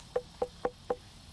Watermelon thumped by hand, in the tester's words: That sounds like a bucket of water.